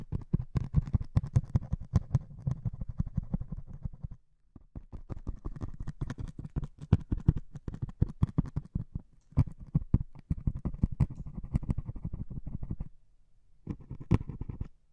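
A single metal needle pokes and scratches the grey top of a white melamine foam sponge held in one hand with long nails. Rapid, dense scratching and soft poking is heard, mostly dull and low with brief dry clicks. There are short pauses near four seconds and again near thirteen seconds before the scratching resumes.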